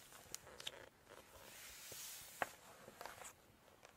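Long red acrylic nails scratch and tap across the glossy printed pages of a large hardcover cookbook lying open. Sharp, bright clicks of the nails stand out over a soft, airy rustle of the page surface, with a broader swell of hiss in the middle.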